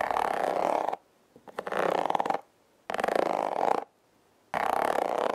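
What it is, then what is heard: Corrugated cardboard scratched. Long nails and fingertips slowly scratch and rub the ribbed surface of a flat, hand-sized red corrugated cardboard heart, likely a hollow heart-shaped box. Four long, raspy, textured strokes each last about a second and are separated by near-silent pauses. A few faint taps come just before the second stroke.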